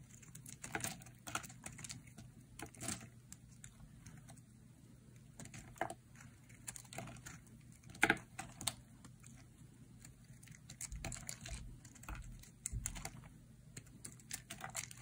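A metal utility blade cuts slices from a solid, dry, hand-sized yellow-white bar of soap. Quick, crisp clicks and short scrapes patter unevenly like light typing, with one sharper snap near the middle, over a faint steady low hum. Each cut ends almost instantly, leaving dry, bright, brittle crunches.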